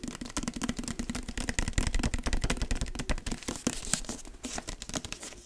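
Fingertips and nails tap and scratch the paper-wrapped cardboard cover of a large, dark hardcover book with gold lettering, solid with pages and held up close to the mic. Quick, uneven, dry taps with a low, hollow thud blend with brighter scratchy rustling. Each tap dies away almost at once, with no ring.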